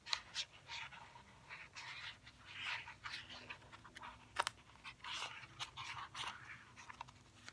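Fingernails tap and scratch a small, hollow white cardboard fidget cube box as it is turned in the hands. The result is a quiet series of crisp, bright taps and dry scraping rustles, with each tap dying away almost instantly and almost no low end.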